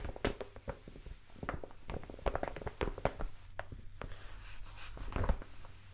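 A large brown kraft paper mailer envelope with a sticker is held up and scratched and tapped with long nails. Quick, dry taps and papery scratches come in an irregular stream, with soft low thuds under them and little brightness. The sound is close and quiet, and each tap dies away almost at once.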